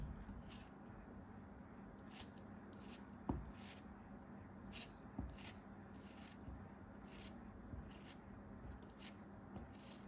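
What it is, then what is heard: Kinetic sand block being cut and scraped. A solid orange-brown block of kinetic sand, held in the hand, is repeatedly cut and scraped with a craft knife. Quiet, soft gritty scraping and crumbling is heard throughout, with short bright hissing bursts as the blade slides through and a few sharper clicks where it bites into the block.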